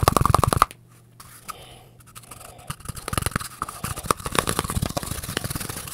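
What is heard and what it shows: An empty, hand-sized, hollow brown cardboard toilet paper tube is held close to the microphone while fingertips and nails quickly scratch and rub its surface. A fast burst of crisp, papery scratches at the start drops to near silence with a low hum, then soft rubbing builds back into dense, rapid, bright scratching and tapping.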